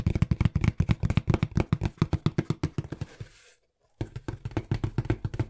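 A small, hollow, brown corrugated cardboard box is held in both hands and tapped quickly with the fingertips. The result is a rapid, uneven run of dull, low, hollow thumps with almost no ring. The tapping fades and stops for about half a second, then resumes at the same fast pace.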